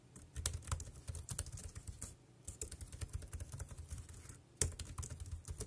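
Fingertips type on a dark grey plastic wireless keyboard with round keys, producing a quick, uneven patter of short clacky taps. Each keystroke has a dull low thud under a bright plastic click, and the keystrokes die away almost at once. A brief pause breaks the typing partway through, and one sharper, louder keystroke lands near the end.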